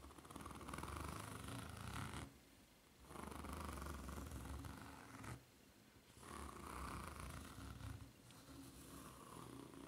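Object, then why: Foam-rubber flip-flop sole with ridged surface. Long nails scratch along the serrated, solid ridged sole of a white foam-rubber flip-flop held upside down. The scratching comes in three sustained stretches separated by brief quiet pauses. It makes a dense, low, rumbling rasp with a thin, bright hiss on top.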